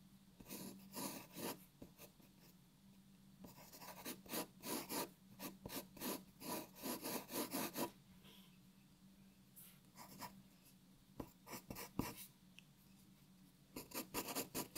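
A graphite pencil draws long strokes on a white paper sheet resting on a wooden table, making bright, dry scratching bursts. The strokes come in irregular clusters separated by pauses, over a faint steady low hum.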